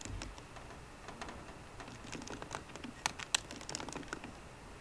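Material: Plastic.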